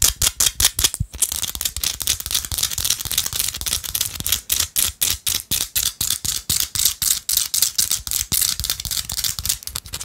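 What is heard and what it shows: A small, solid chunk of pink rock salt held in the fingers is tapped quickly with long acrylic nail tips. The result is a steady run of dozens of crisp, bright clicks, each dying away almost at once, with very little low end beneath them.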